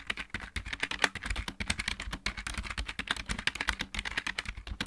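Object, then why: Plastic mechanical keyboard. Both hands type rapidly with painted fingertip nails on a full-size backlit plastic mechanical keyboard. It produces a steady stream of dense, short, clicky taps with bright high clatter over a soft low thump from each keystroke.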